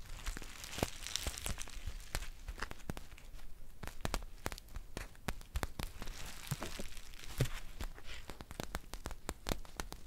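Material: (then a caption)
Foil. A green foil tea pouch held in the hands is crinkled and scratched with long painted nails. Dense, dry crinkling and sharp crackles come through over a low rumble for about ten seconds, with brief bright scratches and crisp clicks scattered throughout.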